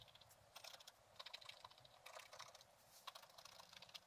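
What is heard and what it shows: A thin wooden stylus scratches repeated strokes across a flat page of black-coated scratch-art paper with a gold underlayer, bound in a book. The quiet, bright, crisp scraping comes in quick bursts of short ticking rasps with almost no low end.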